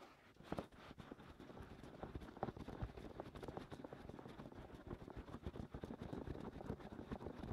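Fingertips scratch the rims and openings of the white silicone ears, with their hollow canals, on a 3Dio binaural microphone. A quiet, close, continuous run of rough scratching and soft thumping rustles is heard, heavy in the low end with little brightness. The sound stays dense and uneven throughout, with brief louder scrapes poking out of the steady texture.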